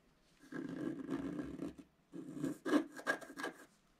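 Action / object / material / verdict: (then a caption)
scrape / black-coated scratch-art paper card / coated paper / none. A pointed wooden stylus scratches the coating off a flat, notebook-sized black scratch-art paper card lying on a table, uncovering a colourful flower picture underneath. A long, steady raspy scrape is followed by a short pause and then a series of quicker, sharper strokes, each a dry, mid-pitched rubbing sound.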